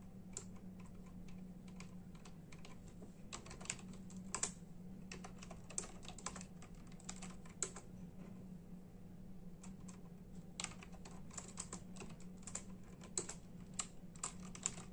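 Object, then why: Plastic membrane computer keyboard. Bare fingertips of both hands type in a steady tapping on a full-size black and silver plastic membrane computer keyboard with hollow keys. The quick, dry, bright clicks come in bursts and die away at once, over a steady low hum.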